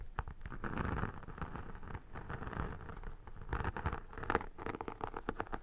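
Long nails and fingertips scratch and tap the textured vinyl surface of an iridescent photo album held upright. The result is a steady, dense run of scratchy rustling broken by quick, dry taps that die away almost instantly. The sound is mostly low and muffled, with little brightness.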